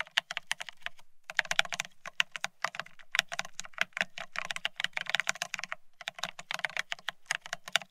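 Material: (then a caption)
Plastic. Fingertips of both hands type fast on the plastic-looking keycaps of a full-size beige split ergonomic keyboard resting as a solid object on a desk. Rapid, bright, crisp plastic taps run in dense bursts, each with a faint low thock and almost no ring, with brief pauses near the start and toward the end.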